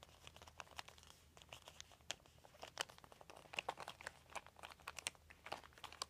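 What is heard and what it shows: Fingertips rub and scratch a large, thin, crumpled white plastic sheet. The result is a dense run of sharp, bright crinkles and crackles with no ring, over a faint low hum.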